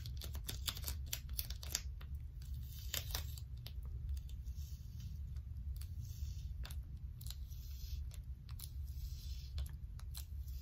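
A wad of blue plastic sticky tape held in both hands is peeled apart and pressed back together by long stiletto nails. Sharp, bright, crackling tearing and peeling snaps come in irregular bursts over a steady low rumble.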